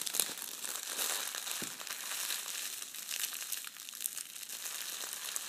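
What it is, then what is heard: Metallic foil wrapping paper being crumpled. Shiny red metallic foil gift wrap, crushed into a small ball, is squeezed and crinkled between both hands. It gives a steady stream of dense, bright crackles and crinkles with almost no low end. Sharp little snaps stand out now and then from the continuous rustle.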